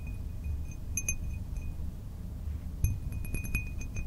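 A small, empty, hollow cut-glass drinking tumbler with a diamond-cut pattern is tapped and clinked by fingertips and nails. It gives short, light, bright glassy clinks with a brief ring over a steady low rumble, sparse at first and then more clustered toward the end.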